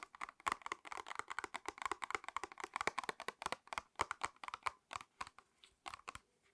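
Long red acrylic nails tap and scratch across a small retail pack of false eyelash clusters, a printed cardboard backing card with a clear plastic blister tray, held in both hands. A rapid run of crisp, dry clicks and ticks centers in the midrange with a bright edge and no ring, thinning out toward the end.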